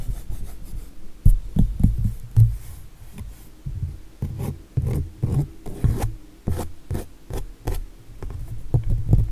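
Fingertips and nails rub and scratch across the smooth acrylic-painted surface of a landscape painting on canvas. The result is a series of soft, low, dull scraping and rubbing strokes with brief bursts and no ring.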